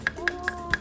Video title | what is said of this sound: [FULL] Ngebolang Meriah Bikin Ceria - SI BOLANG (10/07/25) | Bunyinya beda. Oh, ini kan nyaring.